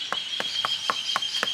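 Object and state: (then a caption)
Hollow ombu tree trunk. Knocks on the trunk of a historic ombu tree, whose wood is spongy, give a series of short, hollow-sounding thuds centered around 1 kHz. A steady high-pitched hum near 3 kHz runs underneath throughout. The trunk sounds hollow, and the ombu is hollow inside and not actually a true tree.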